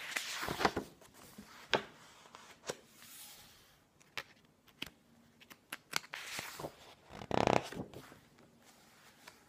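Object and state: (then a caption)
Glossy book pages being flipped. Fingertips grab and flip the glossy paper pages of a hardcover book with a green-edged cover resting on a wooden table. Quiet, crisp rustles and sharp papery snaps come one after another with short pauses between them, and a brief louder swish of a page comes near the end.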